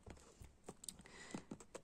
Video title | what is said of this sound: ASMR - Sacred Power Reading Cards - soft spoken, tapping | the box is made of cardboards very thick